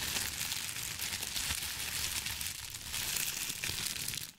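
A thin sheet of white crinkly tissue paper is stretched and twisted between both hands with the fingertips. It gives a steady, bright crinkling and crumpling rustle that fades out at the end.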